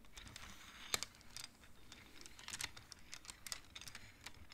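Fingertips and nails push colored wooden beads along the metal rods of a large wooden-framed abacus, so the beads clack against each other. It produces a quiet, irregular run of short, bright clicks and taps that stop dead with no ring, over a faint soft rustle.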